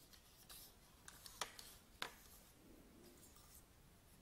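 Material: Aluminium.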